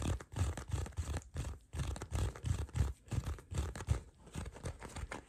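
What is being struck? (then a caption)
Leather card wallet. Fingertips and short nails scratch and tap across a small folded black leather card wallet with card slots, held close in both hands. Quick, uneven bursts of dull, low thumping rustle come about three times a second, with a faint, bright scratchy edge and brief gaps between strokes.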